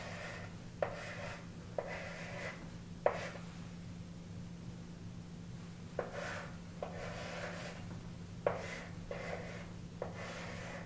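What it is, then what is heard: Chalk writing on a chalkboard. A stick of chalk held in the fingers writes "Neptune - 1846" beneath "Uranus - 1781" on a large framed chalkboard mounted on the wall, scratching and rubbing across the solid board. Eight sharp chalk contacts start short, raspy strokes in an uneven rhythm, with bright hiss between them, over a steady low hum.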